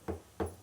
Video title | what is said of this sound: 100 రకాల కమ్మనైన వంటలకు ఒకే ఒక్క పోపు (వంటలకు రారాజు రెసిపీ👑... 100% టిప్స్+ట్రిక్స్+కొలతలతో) | కింద కొడితే కూడా సౌండ్ వస్తుంది చూసారా రాయి లెక్కలో ఉందండి ఇది